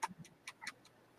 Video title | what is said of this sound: Mail, coin chat what every | if you shake it, you can hear the money in the back